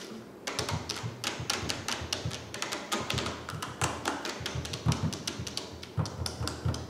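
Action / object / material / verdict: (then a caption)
tap / plastic drink bottle / plastic / none. Long painted fingernails tap rapidly across a clear plastic "hello" drink bottle with pink contents, held and then laid on its side on a table. A steady stream of crisp, bright clicks rides over a low, hollow thump, each tap dying away almost at once.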